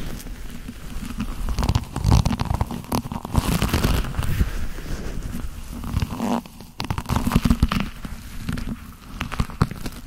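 Black leather gloved hands rub and squeeze together, producing a steady stream of soft creaks, squeaks and friction rustles. The sound is dominated by low, muffled rumble with brief sharper crackles, swelling in louder bursts and easing off between them.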